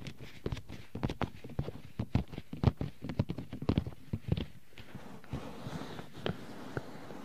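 Pink rubber-gloved hands cup, tap and rub the white silicone ears of a 3Dio binaural microphone. Dull, low thumps come in a quick, uneven run, with a soft rubbing hiss between them. The tapping thins out into quieter rubbing with a few last taps.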